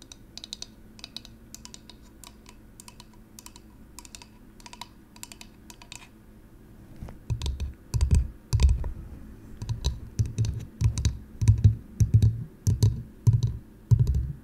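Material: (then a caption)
Wood. A hand-sized, light bamboo or wooden cylindrical container, likely hollow, is held in the hands and tapped and scratched with long acrylic nails. For the first seven seconds, quiet, crisp clicking taps come in quick irregular runs. After that they turn into louder, deeper, hollow-sounding knocks with a low resonant thump.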